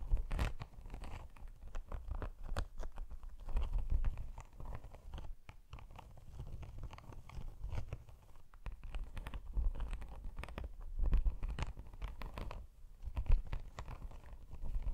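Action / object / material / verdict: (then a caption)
scrape / padded faux leather laptop sleeve / faux leather / none. Long pink acrylic nails scratch and tap across a flat, padded laptop sleeve of shiny iridescent holographic snake-texture faux leather with pink zipper trim, held upright in front of the mic. The result is a quiet, dense stream of dry, crunchy scratches and short taps, low and close in tone, with occasional louder flicks.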